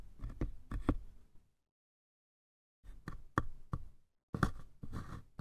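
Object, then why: Small wooden lidded box. Fingertips tap the sides and lid of a small, apparently hollow light-wood lidded box with a red lattice pattern and a brass latch. Dull, low, woody knocks come in three short clusters separated by silence. Each tap dies away almost at once, leaving no ring.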